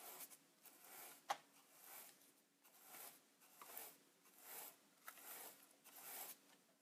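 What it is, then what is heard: Plastic instant camera being brushed. A wide bristle paint brush is rubbed over the silver front panel of a Polaroid Supercolor 635 instant camera, a hollow plastic body standing on a wooden desk. Quiet, repeated swishing strokes produce a bright, airy hiss, broken by two short, sharp ticks.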